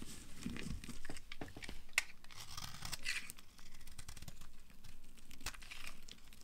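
A small metal knife blade carves and scrapes a palm-sized solid pink bar of dry soap, held in a hand with long dark nails, peeling curls and flakes onto a pile of colorful soap shavings. A steady, dry, crinkly scraping and tearing runs throughout, broken by sharp crisp cracks and crunches as pieces break away.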